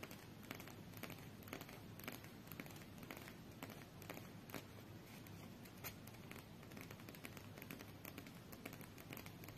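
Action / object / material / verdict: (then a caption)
tap / stack of coated paper playing cards / coated paper / none. Long nails tap and scratch a small, solid stack of coated paper UNO cards held in both hands. Quick, bright clicking taps mix with soft scraping and crinkling over a low, steady hum. The sound stays quiet and even throughout, with each tap dying away quickly.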